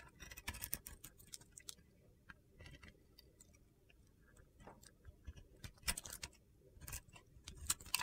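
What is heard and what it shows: A utility knife blade carves and scrapes a mostly white solid soap bar that still has a blue glitter edge. Quiet, crisp, bright ticks and gritty scraping come in irregular bursts, with faint low rumble between them.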